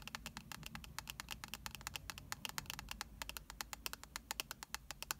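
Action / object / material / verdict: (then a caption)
tap / compact with metal-look rim and pressed powder pan / plastic / none. Long nails tap and scratch the shiny gold rim and the baked pink blush pan of a round, palm-sized blush compact. About forty quick, bright clicks, each dying away almost instantly, run over a soft, steady low hum.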